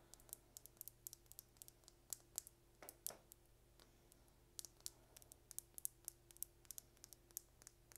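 A small, hollow, slim red plastic lip gloss tube with a gold and blue cap is held in the hands and tapped and scratched with long red nails. The result is a quiet run of dozens of sharp, bright clicks and ticks with almost no ring, plus a couple of brief scratchy swipes, over a faint steady low hum and tone.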